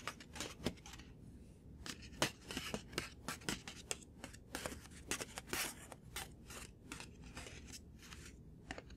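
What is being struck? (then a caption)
Thin paper sheet or card. A thin white paper sheet or card is held up and tapped with the fingertips and short nails. Quick, crisp, bright papery taps come in an uneven, rapid rhythm over a faint low background rumble, each tap dying away almost at once.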